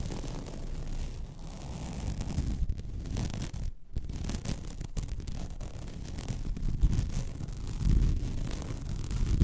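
Long red nails scratch across a flat white placemat with a fine woven plastic mesh texture lying on a table. The result is a steady, rough, dense scratching texture, heavy in low rumble with little brightness, broken by a brief silent gap near the four-second mark.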